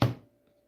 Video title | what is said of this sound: LIVE: Weekly Hangout and Chat: March 29, 2025 | you can hear how flat it is